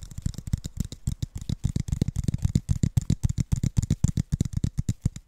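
A clear, apparently empty Mount Franklin plastic water bottle with a blue plastic cap and a paper label is held in both hands and tapped and scratched with fingertips and nails close to the mic. A rapid, uneven series of short, dull, low thumps is heard, with faint bright scratching between them and some speech.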